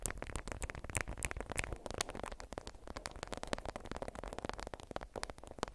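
A watermelon-print, beeswax-coated cotton food wrap is folded around a small bundle and held in both hands while long white acrylic nails squeeze, crinkle and scratch it. Dense, rapid crackles and scratchy rustles run throughout, with bright, sharp flicks and a low handling rumble underneath. Each crinkle stops dead with no ring.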